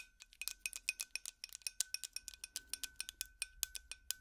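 A glass light bulb is tapped with plastic finger picks in an uneven, rapid series of 27 quick taps. Each tap gives a bright, thin, high glassy clink that dies almost instantly, with almost no low end.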